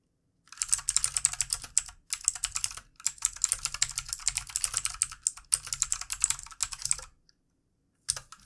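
Both hands rapidly tap with their fingertips on a full-size backlit plastic mechanical computer keyboard with plastic keycaps and a hollow housing, resting on a desk. Dense bursts of bright, sharp clicks over a faint low thud come in runs, with short pauses between them. The typing stops near the end before a last brief flurry of keystrokes.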